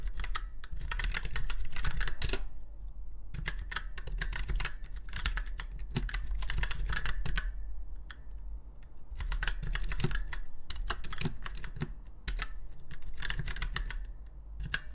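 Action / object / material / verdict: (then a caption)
tap / round-key mechanical keyboard / plastic / none. Both hands type in bursts on a retro typewriter-style mechanical keyboard with round white keycaps set in chrome-look rings on a silver frame. Quick, bright, irregular clicks form several runs separated by short pauses, over a steady low hum.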